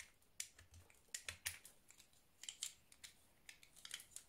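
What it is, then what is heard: Soap bar being shaved with a knife. A scored orange round soap bar is held in the hand while a blue utility knife shaves and cuts its surface. The result is a quiet series of short, crisp, bright scraping and cutting clicks with little low end, each dying away almost instantly.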